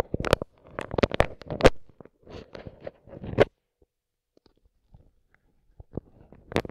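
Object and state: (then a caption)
Plastic-wrapped microphone capsule. A microphone with its grille removed has its dark capsule wrapped in clear plastic film, and a wooden skewer tip held in a gloved hand pokes and rubs it. Close crinkly, crunching bursts with sharp bright taps come in irregular clusters for about three and a half seconds. Near-silence follows, then a few more scattered pokes near the end.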